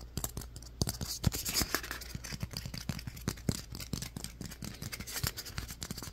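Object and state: Styrofoam ball.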